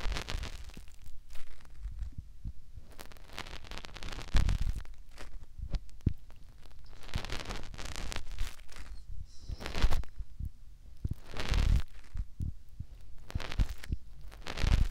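A fingertip rubs inside the ear canal of the white silicone ear on the other side of a binaural microphone. It makes close, muffled rubbing and soft thumps that are mostly deep low rumble, with brief bright scratchy swishes in between.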